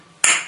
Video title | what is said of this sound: How to Repair Hollow Tiles | that's what a good solid tile sounds like